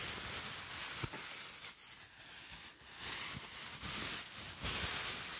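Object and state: Nothing is struck.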